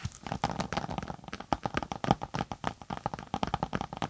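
Long nails scratch and tap the textured top of a closed, tablet-size case with a floral synthetic cover, held flat over the mic. The result is a quick, uneven run of short, dry scratches and taps with a faint recurring midrange tone, each one cutting off almost instantly.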